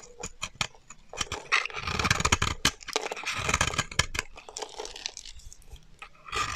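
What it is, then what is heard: Dry bar soap being shaved. A solid, dry mint green bar of soap held in the hand is shaved with a metal utility knife blade, peeling off curly shavings. A rapid series of crisp, bright scraping crunches rises into a denser, louder stretch of shaving, then thins out before a final burst.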